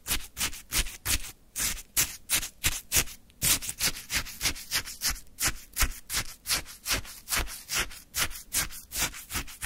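A wooden stick scrapes and digs into orange frozen shaved ice in a plastic cup held in one hand. About thirty quick, bright, crunchy scrapes follow one another at an uneven pace, each a short gritty burst with a faint low thump beneath.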